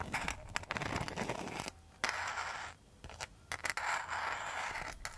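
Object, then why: Rattan and mosaic coaster scratched with long metal nail tips. Long metal nail tips scratch a round, flat coaster with a woven rattan rim and a mosaic centre, held close to the mic. Dense, dry, bright scraping comes in three bursts, centred around 2 kHz, separated by short quiet gaps near 1.8 and 3 seconds.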